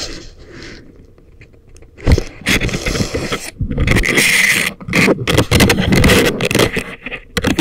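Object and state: Wooden picks scraping inside silicone ear models.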